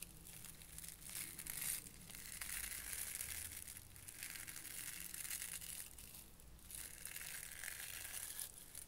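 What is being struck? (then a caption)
Cluster of soft plastic hooked burr balls. A small cluster of orange soft-plastic Bunchems burr balls is held in both hands over a white plastic sorting tray while the hooked pieces are squeezed, pulled apart and pressed back together with the fingertips. The result is a quiet, continuous, crunchy, velcro-like crackle, bright and hissy, in waves that briefly dip between squeezes.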